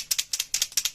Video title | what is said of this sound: Grosse surprise de Déborah | si vous entendez bien, vous allez entendre la petite bille dedans